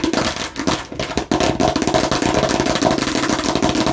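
Aggressive tapping and scratching on a fake plastic watermelon slice. Quick, irregular taps blend with dry, crackly scratching that holds a steady hollow mid-pitched tone, with a brief dip in loudness before the activity resumes at full intensity.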